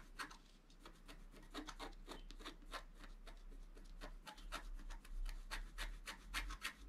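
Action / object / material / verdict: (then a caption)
scrape / scratch art paper card scraped with a wooden stylus / paper / none. A wooden stylus rubs and scratches a flat scratch art card, a black coating on paper, held flat by hand. Quick, irregular scratchy strokes come at roughly three to four per second, each a bright rasping burst. They sit over a steady low hum at a quiet level.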